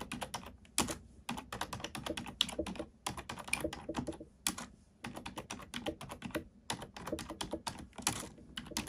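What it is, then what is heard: Plastic computer keyboard being typed on. Keys on a black plastic computer keyboard are pressed one by one with a fingertip and a long nail. About forty quick, dry clicks and taps follow in an uneven typing rhythm, each sharp and bright with almost no ring, separated by brief pauses.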